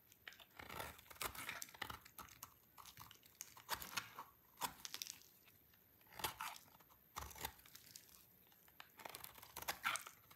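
A small, solid, dry white-orange soap bar is shaved with a utility knife blade held in the fingers, and the flakes drop onto a pile. Quiet, crisp scraping and crunching strokes come in uneven bursts, bright and airy with almost no low end. Faint crinkly patter fills the gaps between the strokes.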